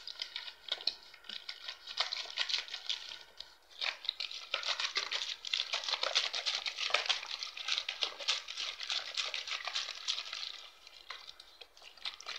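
Fingers squeeze and crinkle a clear, hollow PET plastic water bottle that is mostly empty with crumpled walls, and tap it with fingertips and nails. The result is a dense, bright, irregular crackling of quick snaps and taps with almost no low end, running for about 12 seconds with brief quieter dips.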